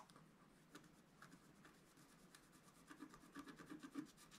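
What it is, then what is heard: Scratch art paper being scraped. A wooden stylus scratches fill patterns near the bottom edge of a flat black coated scratch art paper sheet lying on a table. Quiet, irregular dry rasping strokes with a low papery body and brief brighter scrapes grow louder and choppier toward the end.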